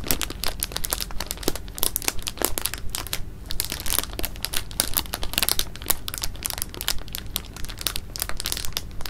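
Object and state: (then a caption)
Plastic bag of jelly beans, crinkled. A clear plastic bag of jelly beans is held up in both hands while fingers squeeze and crinkle the bag and shift the beans inside. Dense, irregular crinkling and crackling with bright, sharp snaps runs steadily throughout, over a soft low rumble as the beans move.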